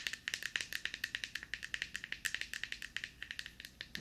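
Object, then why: Plastic deodorant stick. Long painted nails tap and scratch a small, hollow, light-blue plastic deodorant stick held in one hand. About 34 quick, dry clicks come in a rapid, uneven patter, each with a hollow ring around 1.8 kHz and a bright, high edge. Every click dies away almost at once.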